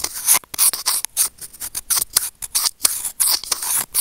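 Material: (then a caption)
Plastic. Curved steel tweezers held in fingers click and scrape against a small, hollow, white plastic earphone inline remote microphone. The result is a quick, uneven series of crisp, bright, hissy clicks and rasping scrapes, almost entirely high in pitch with virtually no low end. Each burst cuts off sharply with no ring.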